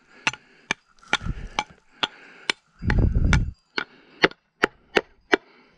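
While fossil hunting, a hammer repeatedly strikes a rock that sounds hollow, as if something were inside it, and it is not expected to sound that way. Sharp, dry clacks with short bright ring land in a steady series, with bursts of low rumble under some of the blows. The hammering continues in the expectation that the rock will break.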